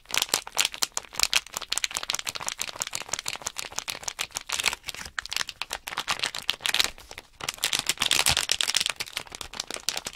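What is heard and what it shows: Hands shake and crinkle a small sealed plastic Nanoblock package bag holding loose plastic blocks, and the blocks rattle inside. The result is a dense stream of quick, dry, bright crinkles and clicks with almost no low end and no ring. There is a brief pause around the seven-second mark before the shaking resumes.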